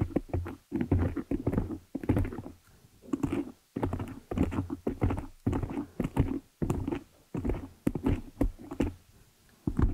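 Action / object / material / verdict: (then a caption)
tap / metal mesh microphone grille / metal mesh / none. Long nails on both hands scratch and tap the top and sides of the dark metal mesh head of a hollow desktop condenser microphone. Bursts of rapid, dry scratching and tapping carry a heavy low thump, with faint high crackle over them. Short pauses fall between the bursts, and each tap dies away almost at once.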